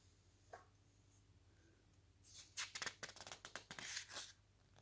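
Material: Paper.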